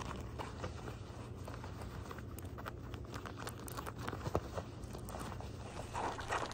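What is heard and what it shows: Fingertips and nails scratch the fabric near the pockets of gray denim jean shorts with copper rivets. Soft, dry scratching and rubbing runs throughout over a steady low hum, with a few sharper scrapes standing out, the loudest a little past the middle.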